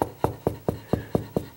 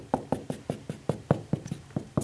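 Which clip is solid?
The second.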